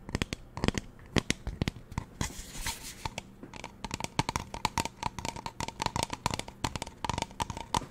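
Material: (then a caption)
Plastic. Long nails tap rapidly on a hollow pink plastic spray bottle, first held upright and then lying on its side. The taps are sharp, bright clicks with almost no ring. A brief noisy rustling wash sits in the middle, and a faint steady tone runs underneath.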